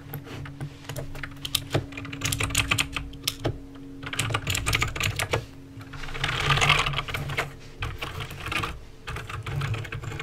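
Fingertips press the keys one at a time on a backlit mechanical keyboard with plastic keycaps and clicky green switches. Sharp, bright clicks come in quick bursts with short pauses over about ten seconds. A steady low hum sits underneath, and each click dies away almost at once.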